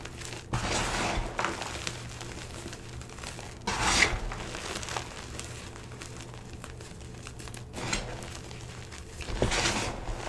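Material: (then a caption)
Chalk. Hands scoop up a mound of stale, powdery green-blue dyed gym chalk (magnesium carbonate) with small lumps, rubbing and crumbling the chunks between fingers and palms. A soft, continuous gritty crinkling hiss swells into several brighter, louder crumbling bursts, over a faint steady low hum.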